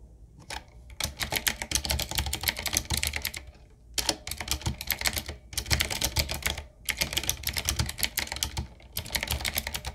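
A 7Keys full-size, typewriter-style retro mechanical keyboard, with a solid body, round plastic keycaps on a dark metal plate and a wooden-looking frame, is typed on with the fingertips of both hands. Rapid bursts of bright, crisp clacks over a soft low thump come in several runs separated by brief pauses.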